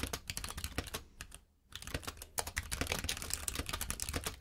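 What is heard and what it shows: A compact mechanical keyboard with plastic keycaps is typed on steadily with the fingertips of both hands. Rapid, clicky keystrokes with bright, short-lived attacks fill the clip, broken by a brief near-silent pause around the middle before the typing resumes.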